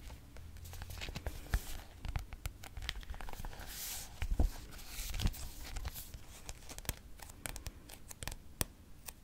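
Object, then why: Paperback book with glossy card cover. Fingertips and nails tap and scratch the turquoise glossy cardboard cover of a thick paperback textbook, a solid block of paper. Many quick, dry taps with very short ring sit over a soft scratchy rustle, with a low, dull body and bright clicky edges.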